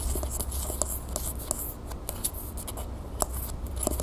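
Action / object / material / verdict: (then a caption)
tap / metal aerosol can / metal / none. Long nails scratch and tap the body of a medium, hollow, copper-colored Vaseline metal aerosol spray can held upright. Quick, dry clicks with a slight hollow metallic ring around 625 Hz sit over a steady low rumble, with bright scratchy texture between the taps.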